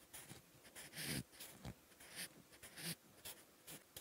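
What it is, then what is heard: Pencil writing on a paper notebook page. A sharpened wooden pencil scratches across a lined, textured paper notebook page while writing characters. The quiet, bright, dry scratching comes in short strokes separated by brief pauses, with a longer stroke near the start. Faint low taps mark where the pencil meets the page.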